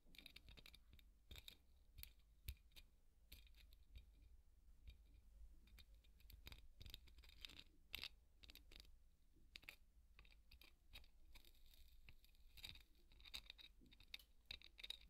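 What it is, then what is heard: Polystyrene foam ball being scratched. A large white solid styrofoam ball is brushed and scratched with a wooden-pin hairbrush. The result is a quiet, continuous run of dry scratchy strokes and crisp clicks, with bright squeaky tones from the foam and a steady low rumble underneath.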